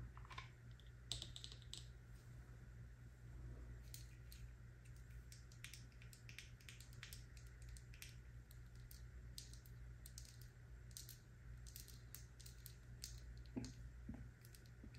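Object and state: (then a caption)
Amber glass dropper bottle. Long acrylic nails tap and scratch a small amber glass serum bottle with a black dropper cap and paper label, held in both hands. Quick, bright clicks and scratches sound on the glass and the label over a steady low hum, with no talking.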